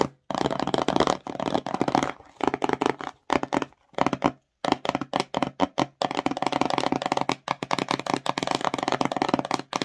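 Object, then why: Small glossy cardboard box. Long nails scratch and tap the front face of a small, empty, glossy cardboard slime box, tilted to show its white bottom. Dry, crackly bursts of rapid scratching and tapping come in quick runs broken by short silences. The sound is mostly mid-range, with little low end and almost no ring after each touch.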